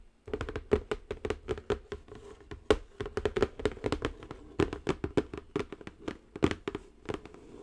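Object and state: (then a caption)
Cardboard box tapped with nails. Long nails tap rapidly and continuously on the top edge and sides of a square cardboard zen garden box. Each tap is short, dry and hollow, with a faint tone near 430 Hz and almost no ring. Some taps land harder than others, with quiet gaps between bursts.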